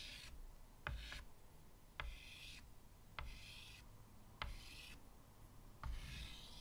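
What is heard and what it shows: White chalk draws spirals at the top edge of a medium flat chalkboard with a wooden frame, in five scratching strokes. Each stroke opens with a sharp tap and trails into a bright, raspy scrape over a low, steady rumble.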